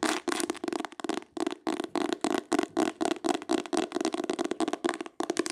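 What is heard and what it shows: Long acrylic nails tap and scratch rapidly across the cloth- or leatherette-covered board cover of a small, solid, closed green hardcover book with an embossed oval pattern, held up in the air. The result is a quick run of short, dry, scratchy taps with a mid-pitched body and bright edges, each dying away almost instantly.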